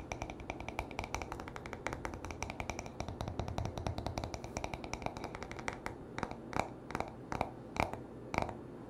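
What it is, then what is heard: Wooden hairbrush. The back of a solid-wood paddle hairbrush is scratched and tapped with short nails and fingertips. Quick, dry clicks and scratches run densely for about six seconds, then slow into sparser, louder taps with a woody midrange knock and very short ring.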